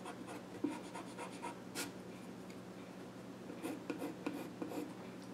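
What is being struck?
Small wooden stool top with pencil.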